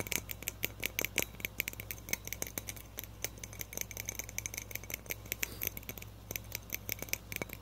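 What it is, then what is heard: Frosted glass light bulb. A small hollow frosted glass light bulb with a metal base is tapped quickly with fingertips and nails. The result is a rapid, irregular stream of short, bright glassy clicks with a ring near 2.3 kHz, set over a faint steady low hum.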